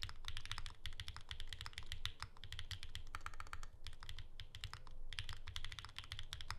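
Continuous fast typing with the fingertips of both hands on a pink ergonomic Alice-layout Bear 65 mechanical keyboard with plastic keycaps and a hollow case, resting on a desk mat. Rapid, dense keystrokes give bright clacks over a deep, hollow low thump, each dying away almost instantly, with a brief lull partway through.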